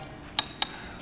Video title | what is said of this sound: Gak Masuk Akal! SUV AWD CBU Jepang Ini LEBIH MURAH Dari Honda HRV?! Subaru XV 2022 Anti SUV Banci 💪🏻 | roof rail yang kalau kita ketok, sudah besi, jadi udah bisa kalian pakai beneran buat angkut barang